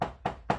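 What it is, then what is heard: Tapped table. Three taps on a table, evenly spaced about a quarter second apart. Each tap is a short, dull knock with a mid-range tone and a brief decay, made to show that a sound can be produced without breathing.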